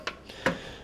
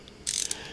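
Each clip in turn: First: plastic small ratchet. Second: metal ratchet socket head.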